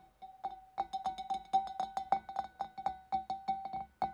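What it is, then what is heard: Empty glass fish bowl. Long dark nails tap inside the opening and on the rim of a large, clear, empty glass fish bowl, making about 21 quick, irregular taps. Each tap gives a short, bright glassy ping with a steady ring near 780 Hz that fades almost at once.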